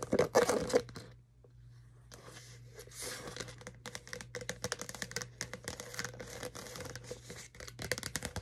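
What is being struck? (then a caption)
Clear plastic cup with lid. Long nails tap and scratch the wall of a clear plastic Starbucks cold cup with a lid and green straw, partly filled with a red drink. A loud crinkly burst opens the clip, then a brief near-quiet gap, followed by steady, irregular clicky taps and scratchy scraping with a faint low hum underneath.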